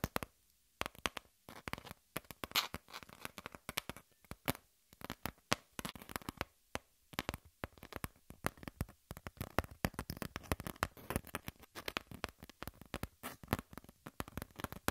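Long fingernails of both hands scratch the surface of a brown corrugated cardboard piece held flat. Rapid, dry scratching bursts sweep from low to bright, separated by brief quiet gaps. Each stroke ends almost instantly, with no ring.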